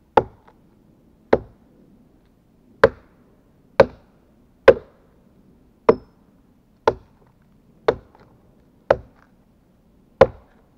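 A gloved hand chops repeatedly with a steel-headed axe into a large, solid pine log on the pile. Ten sharp, dry thuds ring out at uneven intervals, each with a mid-pitched knock and a very short decay, over a faint low background hum.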